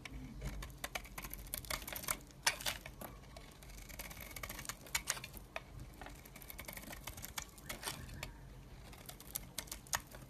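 A metal blade shaves the surface of a hand-held, solid pale green bar of soap. The result is a quiet, steady run of short, crisp, bright scraping ticks and rasps that stop almost instantly, over a faint low rumble.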